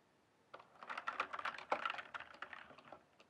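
Fingertips type rapidly across a full-size backlit mechanical keyboard with plastic keycaps. After about half a second of silence, a quick, uneven run of short, dry clacks follows, centered in the midrange with a little bright click. The keystrokes thin out and grow softer toward the end.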